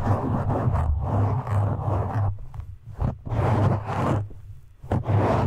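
Fingertips of both hands grip and scratch a black foam windscreen on a microphone, producing dense, rustling scratches over a heavy low rumble near 100 Hz. The scratching comes in long bursts separated by brief quieter gaps.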